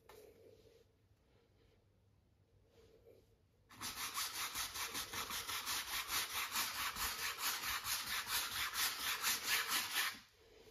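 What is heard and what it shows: A wide flat brush is rubbed in sweeping strokes across a medium-sized stretched cotton canvas on a wooden frame, set on an easel, with the taut fabric over a hollow frame. After a few seconds of faint quiet, a steady, bright, scratchy back-and-forth brushing begins at a brisk, fairly regular pace, then stops near the end.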